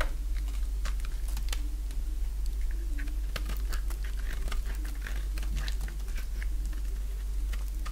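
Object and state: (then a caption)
Dry bar soap being shaved. A dry yellow bar of soap, held in the hand, is shaved with a box-cutter blade. The result is a steady run of quick, crisp scraping and cutting ticks over a constant low hum.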